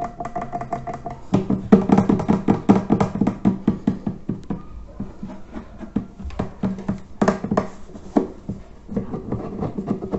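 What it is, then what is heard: Terracotta clay water filter. Fingertips tap and scratch the domed top and upper body of a large, hollow, reddish-brown fired-clay terracotta water filter with a red band and a FILTRO label. The result is a dense, irregular run of short, dull knocks with a low hollow body tone, mixed with soft scraping. There is no ringing after each tap.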